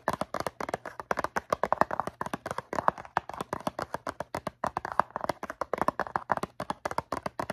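Long nails tap rapidly across the faces of a medium-size blue cardboard Q-tips box, hollow and filled with cotton swabs. The taps are dry, crisp clicks centered in the mids around 1 kHz, with bright edges and no ring, over a faint low hum.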